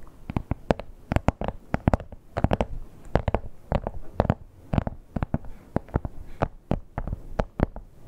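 Long nails tap and scratch the surface of a red, glossy, croc-embossed leather wallet. A rapid, irregular series of short, dry clicks with a low, muffled body decays almost instantly, with soft scratching between the taps.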